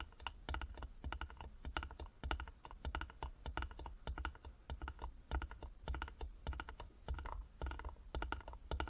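Long nails tap rapidly on the sides of a small hollow carved wooden box held in both hands. The taps come in quick, uneven bursts of dry, clicky knocks, each dying away almost at once, with a soft low thump beneath a sharp bright click.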